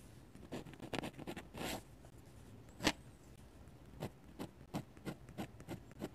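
A metal-nib dip pen held in the fingers scratches ink strokes across the thick white paper of an open sketchbook lying flat. Quiet, dry, bright scratches come in short bursts, with a longer rasping stroke near the start and a sharper one in the middle. Later, more evenly spaced quick strokes follow, each ending almost instantly.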